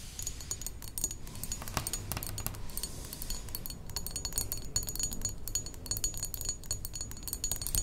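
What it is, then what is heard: Glass perfume bottle tapped with nails. A medium rectangular thick glass perfume bottle, partly filled with liquid, is tapped with long acrylic nails. The result is a dense, steady run of quick, bright clicks and clinks with very short ring, over a low rumbling background.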